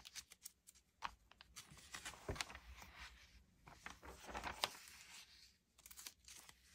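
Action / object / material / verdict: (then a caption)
scrape / glossy paper magazine / paper / none. Fingertips with dark-painted nails rub, smooth and turn the thin glossy pages of an open Allure magazine, March 2022 issue, lying flat on a wooden table. Quiet, bright paper rustles and crinkles come in short bursts, with a few sharper swishes as pages flip over.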